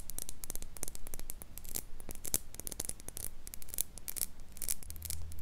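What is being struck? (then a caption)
Small glass jar mug with a metal lid. Long pink nails tap and scratch a small, empty clear glass mason jar mug and its silver metal lid. The result is a rapid, uneven run of short, bright clicks and ticks mixed with light scraping, each sharp and quickly damped, over a faint low rumble.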